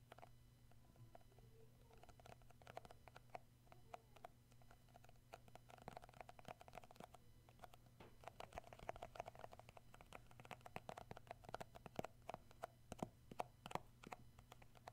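Fingertips tap across the labeled lid of a round plastic shea butter tub, making quiet, short, dry clicks with almost no ring. The taps come in quick, uneven runs that grow denser and a little louder in the second half. A steady low hum runs underneath throughout.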